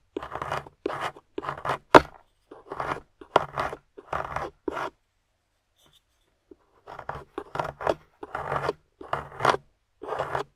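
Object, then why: Plaster block scraped with a metal pick. A metal pick tool, held by a hand with long nails, scrapes and chips at a grey solid plaster fossil dig block resting on a table, with loose plaster crumbs around it. The sound is a run of short, dry, crunchy scraping bursts in quick succession, with a brief quiet pause midway before the chipping resumes.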